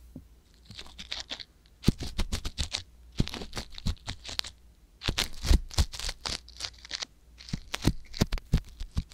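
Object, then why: Silicone microphone ear scraped with a metal-tipped ear pick. A soft silicone ear on a white box binaural microphone has its ear canal scraped with the metal tip of a wooden ear pick held by long nails. Close, crackly scratching comes in dense bursts of sharp clicks and rustles, with a steady low rumble beneath and a hissy band of bright texture.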